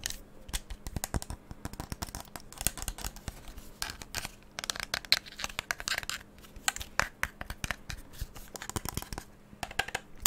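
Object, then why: Plastic handheld game controller. Fingertips tap and click rapidly on the buttons and shell of a hollow black hand-held plastic gamepad held in both hands close to the microphone. The result is a dense, irregular stream of short, dry, bright clicks and taps that die away almost instantly, over a quiet background with a faint steady low hum.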